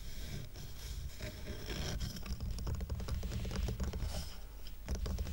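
Fingernails rapidly tap and scratch the rough, raw-wood side of a twine-tied stack of square wooden coasters. The result is a dense, continuous patter of dry clicks and scrapes over a steady low rumble, with bright scratchy texture on top.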